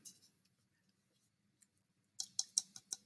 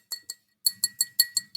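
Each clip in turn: First: dry unfired clay (greenware), unfired. Second: bisque-fired clay rings like glass.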